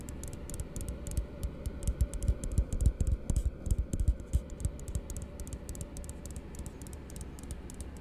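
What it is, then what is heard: Plastic cup. A small, hollow, empty blue frosted plastic tumbler is held in one hand and rapidly tapped by the fingertips and nails of the other hand. The taps come as a fast, uneven patter of short, dry, muffled thuds with bright clicky nail ticks on top. They swell loudest in the middle of the clip and then ease into softer tapping.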